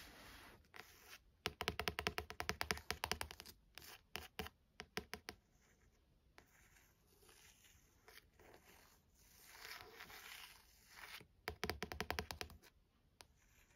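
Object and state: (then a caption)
Paperback book with glossy card cover. Long pointed acrylic nails tap and scratch the glossy printed card front cover of a small paperback novel, "For Love of Lily," a solid block of paper lying on a desk. Bursts of rapid, crisp clicking taps alternate with quieter, bright scraping and tracing strokes across the cover.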